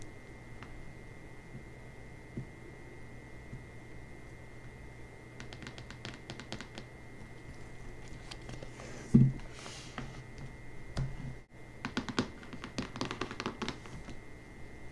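Long nails tap and scratch the back cover of a closed hardcover book with a glossy paper dust jacket resting on marble, making quiet, crisp clicks over a faint steady hum. The book is turned over with a louder thump, and after a brief pause the nails tap the front cover in quick bursts of light clicks.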